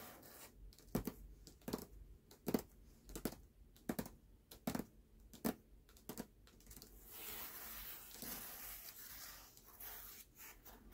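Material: Paper.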